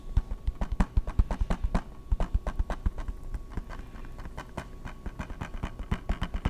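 Fingertips and nails tap and scratch a small, rectangular, hollow, clear plastic PS3 video game case for Madden, held close to the mic, including its edges. Quick, dull, bass-heavy taps come in rapid, uneven runs with very short decay. A softer stretch of scratching in the middle gives way to more tapping.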